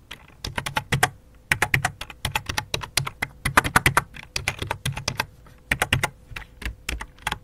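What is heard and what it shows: Fingertips with long dark nails type on the letter keys of a full-size white and light-blue plastic computer keyboard resting on black cloth, then one hand moves to the numeric keypad. The result is rapid, irregular bursts of short, bright clicky key taps with a soft low thump under each press. A faint steady hum sits beneath the typing.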